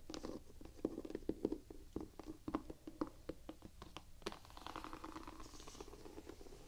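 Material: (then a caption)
Rubber. Long nails tap and scratch the white rubber outsole of a slip-on sneaker held in both hands, working over its diamond-pattern tread. Quick, dry, low-mid taps fall in irregular bursts over a soft scraping texture. About halfway through, the tapping gives way to a steadier rubbing scratch.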